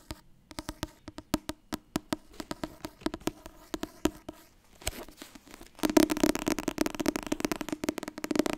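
Fingers tap quickly on the softcover book 'Het Wasbord dieet'. Dry, short, papery knocks with a low-mid hollow tone come in a steady run of separate taps. After about six seconds they turn louder and blur into a dense, continuous patter.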